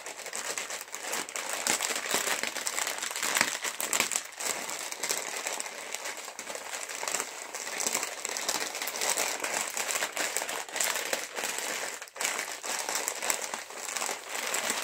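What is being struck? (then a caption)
Metallized plastic chips bag. A full, sealed green metallized plastic chips bag is tapped with nails and fingertips and squeezed throughout. The result is a steady stream of bright, dry crinkling and crackling, with quick taps mixed in, almost nothing in the low end and most of the energy above 2 kHz.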